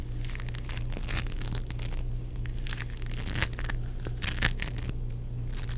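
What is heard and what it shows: A palm-sized, solid, sticky purple ball of play foam made of tiny foam beads is squeezed, pressed and pulled with fingertips and palms. It gives off dense, crackly crushing bursts that flare bright, over a steady low hum.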